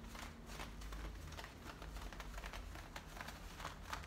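Fingertips and painted nails scratch and rub the fabric at the frayed waistband and front of worn, high-waisted blue denim jeans with a metal front zipper. The result is a quiet, continuous scratchy rustle with brief brighter swipes, over a steady low hum.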